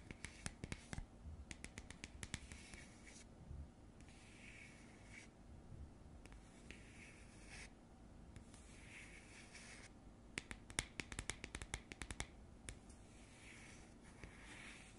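Long nails scratch across the top surface of a round cardboard coaster. Quick bursts of sharp, bright clicks and taps alternate with softer, airy scratching stretches over a faint low hum.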